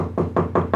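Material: Steel.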